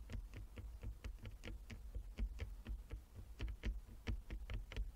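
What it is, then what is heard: Wooden chess board. A flat wooden chess board with inlaid squares is tapped with the long nails of both hands. A quick, steady run of short, dry taps is heard, each a dull low knock with a faint bright click on top that dies away almost at once.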